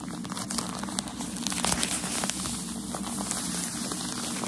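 A bundle of white tissue shoe-packaging paper is held in one hand while the fingertips and nails of the other hand tap and scratch its top. The result is a continuous bright crinkling and crackling texture with scattered sharp ticks over a steady low hum.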